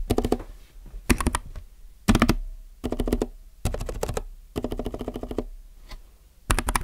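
Fingertips type on a compact mechanical keyboard with plastic keycaps, producing about seven quick bursts of rapid clacky keystrokes separated by short pauses. The clicks are short and dry with a strong low thock, fading fast after each burst.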